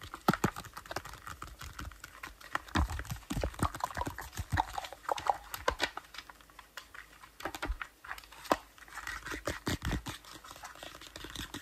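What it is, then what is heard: Glossy paper magazine, tapped and scratched. Fingertips and nails rapidly tap and scratch the yellow-bordered cover of a glossy paper National Geographic magazine, and its pages are flipped by hand. Dense, dry clicks and papery scratches come in quick bursts, with short crisp taps and brief rustles.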